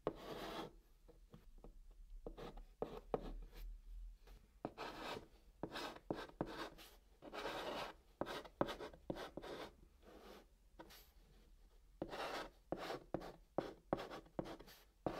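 A hand writes small letters with a white chalk stick on the top of a flat brown cardboard box. Short, dry scratching strokes mix with light taps, each burst stopping quickly with no ring. The sound is quiet and close, with its strongest energy in the mids.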